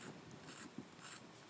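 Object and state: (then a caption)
Crisp toasted sandwich crust. A small toasted sandwich made in a non-stick hand sando maker gives a dry, crisp crunching and scraping sound, with bursts of high-frequency crackle and one sharp snap partway through. The crunch shows the crust is crisp and well toasted, judged perfect.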